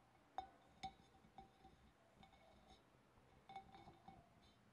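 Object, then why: Glass fish bowl. Fingernails tap on a glass fish bowl, producing quiet, irregular clinks. Each has a short bright ring around 760 Hz with faint higher overtones, and some taps land close together in small clusters.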